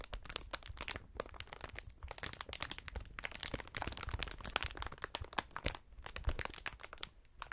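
A wide sheet of clear, hollow, inflated plastic air-cushion packaging is stretched out, then crumpled together by gloved hands. It makes a dense, continuous stream of sharp crinkles and crackles with bright highs and some low thumps, and nothing rings after each crackle.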